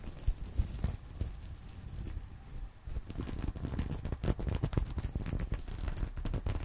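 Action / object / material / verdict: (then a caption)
scrape / sequin-covered fabric purse / plastic sequins / none. Fingernails scratch quickly over the plastic sequins of a small reversible sequin-covered fabric purse resting on a pillow. The result is dense, dry crinkling and scraping, muffled and bass-heavy, with brief clicks. The scratching starts sparse and soft, then grows busier and brighter after about three seconds.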